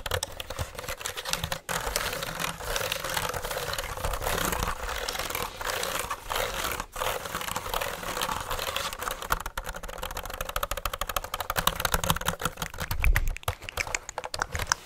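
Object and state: Plastic computer keyboard.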